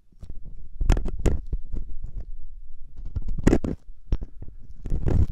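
A metal loop ear pick, held by the fingertips, scratches inside the ear canal of the soft, solid silicone ear on a 3Dio binaural microphone. Close, muffled, rumbling scrapes and rubs dominate the low end, broken by sharp crackling bursts that flash bright for a moment before dropping back to a dull, deep scratching.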